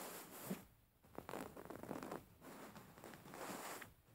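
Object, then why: Stuffed cotton pillow with thread embroidery. Long painted fingernails of both hands scratch across a soft, stuffed white cotton pillow with raised thread embroidery. The result is a quiet series of dry, raspy, zipper-like scratching strokes with soft rustling between them, each fading quickly.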